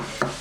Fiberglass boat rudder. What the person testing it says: that's all relatively what we expect to hear in a Rudder